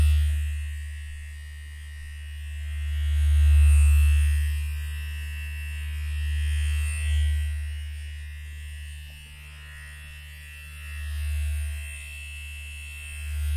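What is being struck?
Nothing is struck.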